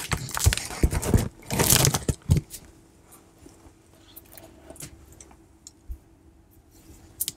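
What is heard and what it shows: Long nails scratch and rub across the surface of a large, hollow corrugated cardboard shipping box held up close. Dense, bright scraping bursts fill the first two and a half seconds. Sparse, soft ticks and light scratches follow against a faint low hum.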